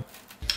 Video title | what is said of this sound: Ein Tag persönlicher Koch für @Angeschrien 🥞 | Schön knusprig. Hört ihr das?